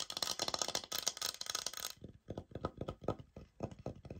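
Long nails scratch across the textured face of a thin, solid oak-pattern laminate wood-look floor sample board, which has a white product label on the corner and is held up in both hands. For about two seconds there is a dense, bright, hissing scrape, followed by a run of short, dry, quick taps with almost no ring.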